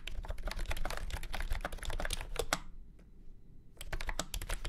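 Fast fingertip typing on a full-size beige and orange plastic retro keyboard with round keycaps and a hollow body, resting on a felt mat. Rapid, bright, clacky key strikes sit over a low thudding body, with a brief pause near the middle before the typing resumes.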